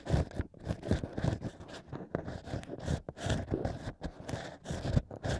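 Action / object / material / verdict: scrape / natural wine corks with drilled holes, scraped with a thin bamboo pick / cork / none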